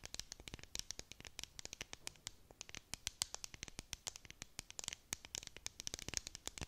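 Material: Plastic.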